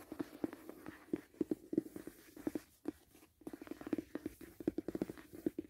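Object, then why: Rigid cardboard box. Fingers tap and scratch along the edges and corners of a closed, hollow white rigid cardboard gift box. About thirty quick, soft taps, each with a hollow resonant thump, are mixed with light scratching, with a brief quiet pause near the middle.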